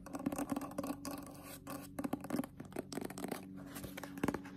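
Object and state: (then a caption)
Paperback book (paper). Long pointed nails tap quickly and scratch across the glossy cover of a solid paper Zelda Ocarina of Time paperback manga, first held up and then laid flat. The sharp, dry clicks come in quick, uneven bursts over a faint steady low tone.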